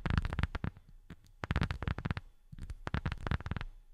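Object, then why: Rubber sheet. A rubber sheet is tapped with silicone rubber finger pads in quick, uneven runs of soft, dull thuds. The taps come in three bursts separated by short quiet gaps. Each tap is deep and muffled, with almost no brightness, and dies away at once.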